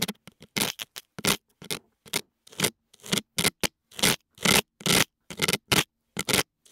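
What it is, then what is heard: Silicone dummy-head ear scraped with a metal pick. A thin metal dental pick, held in fingers with long nails, scrapes inside the left ear canal of the soft silicone ear on a white binaural dummy-head microphone. About twenty short, bright, scratchy strokes come in an uneven rhythm, each stopping dead with silence between them.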